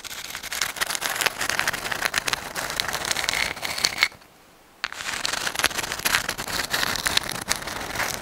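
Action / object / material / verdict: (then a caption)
scrape / dried sand dollar shell, thin calcium carbonate skeleton / shell / none. Long acrylic nails scratch and tap a dried white sand dollar, a palm-sized, thin, flat, hollow calcium carbonate skeleton held in both hands in front of the microphone. The result is a dense, bright, crackly stream of scratches and quick, dry ticks with almost no low end. It stops for a brief near-silent gap around the middle, then resumes just as busily.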